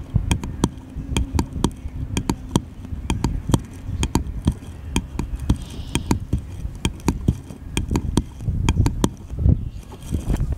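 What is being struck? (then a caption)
Small wooden paddle. A small, light, solid wooden paddle-shaped piece is held in the hand and tapped with the fingertips. Around 35 short, dull, low-pitched knocks come in an uneven rhythm, each dying away almost instantly, over a soft low rumble.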